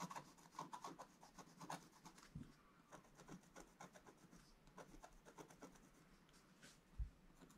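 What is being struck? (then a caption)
Coated scratch-art paper card with wooden stylus. A wooden stylus scratches strokes into a black coated scratch-art card, a flat thin sheet resting on a table. The result is a quiet series of short, dry rasping scrapes with bright, papery texture, broken by a soft low thump near the start and a sharper knock near the end.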